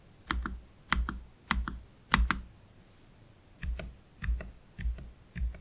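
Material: Plastic.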